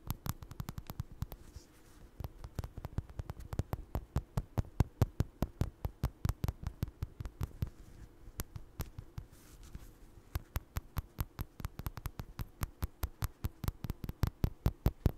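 Fingertips and nails scratch and tap a small, soft, stuffed orange crocheted doll with eyes held close to the mic. The result is a quick, uneven run of short, dry, muffled thumps with a deep, low body and very little ring, separated by faint scratchy rustling.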